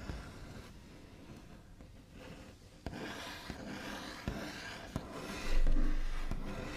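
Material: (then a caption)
Wood. The backs of fingernails scratch, tap and trace across the surface of a wooden table, a gentler sound than normal scratching. A soft, low rubbing rasp runs throughout, broken by a few sharp taps, and swells into louder, busier scratching near the end.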